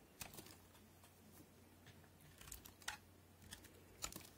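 A yellow-handled utility knife cuts crunchy pieces from the corner of a solid, cream-colored rectangular white soap bar held in the hand. About nine brief, bright, crisp cracks and scrapes come at uneven intervals over a quiet, steady low hum.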